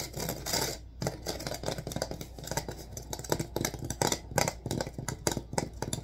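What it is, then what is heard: Wicker basket being scratched. Fingertips and nails of both hands scratch rapidly along the vertical reeds of a hollow rattan/wicker basket with a wooden rim, held upright. The result is a dense run of dry, crackling scratches with bright, brittle edges and short, quick bursts, over a steady low hum.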